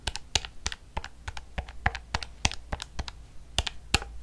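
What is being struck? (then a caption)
Plastic calculator. Long fingernails tap quickly on the keys of a black plastic calculator held at a tilt, making 23 short, bright plastic clicks at an uneven rhythm over about four seconds. Each click stops almost instantly, with a faint steady low hum underneath.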